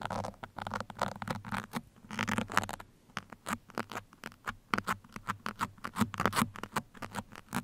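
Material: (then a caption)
Foam. Steel pins held in both hands scratch the sides of a black foam microphone windscreen, making quick, dry bursts of scratchy patter that come in clusters, with a brief lull near the middle. The scrapes are sharp and short with no ring, spreading into bright hiss over a faint steady low hum underneath.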